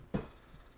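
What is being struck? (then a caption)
Cardboard beer pack with glass bottles inside. An eight-bottle "brick" cardboard package of Hell's lager (4.8%) is handled, giving a single short, dull, low-pitched knock with a brief muffled clink and almost no ring. The sound is from the glass inside, and the pack turns out to hold stubby glass bottles.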